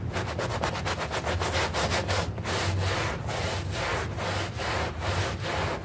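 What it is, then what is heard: Synthetic turf doormat being scrubbed. A bristle brush scrubs a small, foamy green synthetic turf doormat made of artificial grass. Quick rhythmic strokes at first give way to longer, broader sweeps, making a steady, coarse rasping hiss over a low rumble at an even level throughout.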